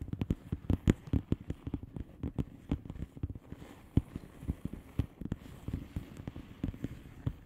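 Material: Plastic.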